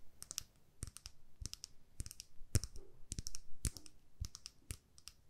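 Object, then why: Small plastic lip gloss tube. Long nails tap a small plastic lip gloss tube filled with pink gloss, making quick, light clicking taps in short bursts. Each tap is a crisp, bright tick with a soft low thump underneath and almost no ring. The taps come in quiet clusters separated by brief pauses.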